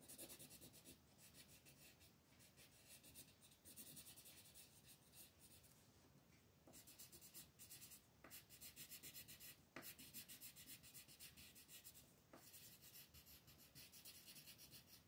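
A green wooden colored pencil is rubbed back and forth across a flat, thin paper coloring page, shading in leaves. Quiet, bright, scratchy rasping strokes repeat at a quick, uneven pace, about three to four per second, with a few sharper scrapes standing out.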